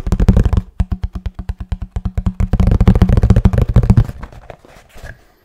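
Fingertips and nails tap rapidly on a hollow kraft cardboard box, making a quick run of dull, low, boxy knocks with a short hollow resonance. The tapping is dense at first, then settles into a steady patter before trailing off into a few soft, scattered taps near the end.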